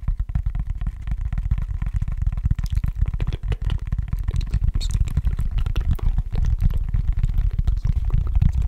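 Fingertips tap and scratch the underside of a long, shallow, hollow cork tray held bottom-up. The result is a dense, rapid run of soft, dull, low thumps with almost no brightness, each dying away almost instantly under a continuous muffled rustle.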